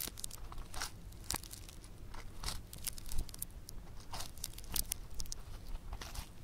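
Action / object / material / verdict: scrape / bead-textured foam clay / foam clay / none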